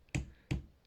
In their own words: Sounds solid like that, you know it's not ready.